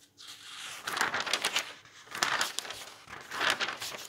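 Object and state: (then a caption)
Bound volume of old paper magazines. Bare hands wearing rings turn, lift and smooth the thin pages of a large bound volume of old yellowed paper magazines lying open on a table. Three bursts of bright, crisp paper rustling and crinkling rise and fall, with quieter soft shuffling between them.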